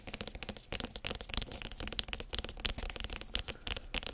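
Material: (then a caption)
Squash rind. Long nails tap and scratch the smooth skin of a large, whole yellow spaghetti squash with a hard rind, held in both hands. Quick, bright clicking taps mix with dry, scratchy rustling in a dense, irregular stream, each tap dying away almost instantly.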